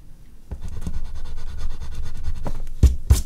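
An oil pastel stick is rubbed in strokes over a large flat sheet of artist's paper resting on a board, with a hand on the drawing. It makes a steady, low, dense scratchy rubbing that starts about half a second in and grows slightly louder. Two sharper, brighter strokes stand out near the end.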